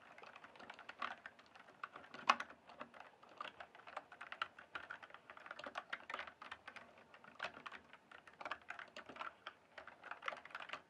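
Fingertips type and tap on the keys of a full-size, backlit plastic mechanical keyboard with a hollow case. The result is a quiet, steady stream of short, crisp clacks that are bright and mid-toned with almost no low end. One sharper, louder key strike stands out about two seconds in.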